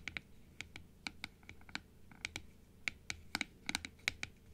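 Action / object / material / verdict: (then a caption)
tap / plastic dental teeth model tapped with long nails / plastic / none. Long acrylic nails tap and scratch on a hollow blue plastic dental teeth model, first half-open and then open, striking both the blue plastic and the teeth. About 18 sharp, dry clicks land irregularly over a faint scratching hiss. Each click is bright with a ringing tone near 2.3 kHz and dies almost instantly.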